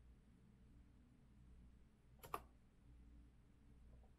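Fingertips press the keys of a rose-gold metal Azio retro mechanical keyboard with round backlit keycaps on a wooden desk, starting from a resting hand before typing with both hands. Two quick, sharp clicks land close together near the middle, with almost no ring, over a quiet, low background hum.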